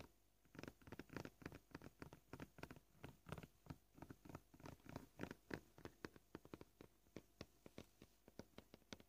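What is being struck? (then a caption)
Plastic cutting board. Short, polished fingernails on both hands tap rapidly on a flat, solid white plastic cutting board. The result is a quick, uneven patter of crisp, dry clicks with a low-mid body and almost no ring, the pace shifting as the taps cluster and spread out.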